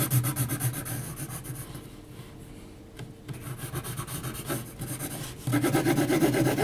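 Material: Paper.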